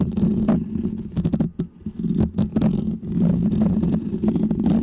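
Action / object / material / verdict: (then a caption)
scrape / foam microphone windscreen / foam / none. Fingernails of both hands scratch a small, round, white, textured foam windscreen on a microphone, producing a dense, continuous, low rumbling scrape with quick rustling bursts. The scratching briefly drops away twice, around 1.7 and 3 seconds, before resuming at full strength.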